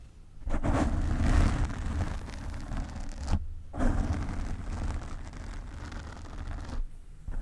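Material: Foam.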